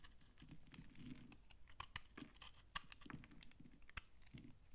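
A utility knife blade repeatedly scrapes a solid, dry, old brown laundry soap bar held in the hand, shaving crunchy flakes onto a pile. The sound is a quiet run of dry, crisp scratches and crunches with bright clicky edges over a soft low rasp, each stroke short with almost no ring.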